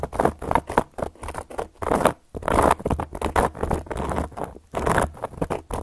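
Long gold metal claw nails scratch and tap across a solid, round, flat cork coaster. The result is a quick, dry patter of scratchy strokes and light taps in uneven bursts, centered in the midrange with almost no ring after each contact.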